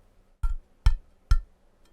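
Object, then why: Metal frying pan. An old metal frying pan is struck three times with a closed fist. Each blow gives a dull, low thud with a faint ringing tone around 1 kHz that dies away quickly.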